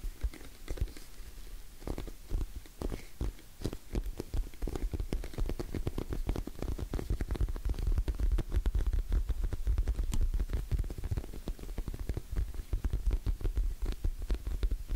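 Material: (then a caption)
Vinyl. Long nails tap and scratch the surface of a hollow orange glossy PVC cosmetic pouch held in both hands. Dense, rapid, soft thuds with a deep, muffled body mix with scratchy crackles and faint bright clicks. The patter runs steadily and grows a little louder after the first few seconds.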